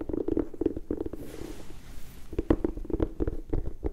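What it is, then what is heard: Leather and rubber sneaker. Long nails scratch and tap along the leather upper and rubber sole edge of a single empty turquoise-and-white high-top sneaker held in both hands. A rapid run of soft, dull taps with a low, muted body gives way to a brief breathy scratching swish, then the quick tapping resumes.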